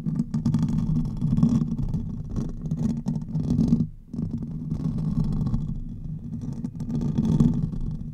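Fingernails scratch the hollow metal mesh grille of a silver condenser microphone, first with one hand and then with both. The scratching comes through as a dense, muffled rumble with a low, boomy hum centered in the low range and little brightness. A brief pause near the middle is the only break in the sound.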